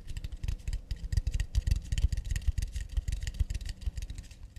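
Long nails tap quickly across the underside of an empty, round, hollow acacia wooden plate held in both hands. The result is a fast, uneven patter of soft, dull, low thumps with bright clicky ticks on top. Each tap dies away almost instantly.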